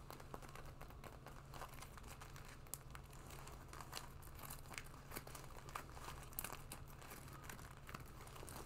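Long nails and fingertips scratch and rub a black leather jacket being worn, moving over the shoulders, lapels and sleeve. Soft, crinkly scraping and faint ticks run on continuously at a low level, over a steady low hum.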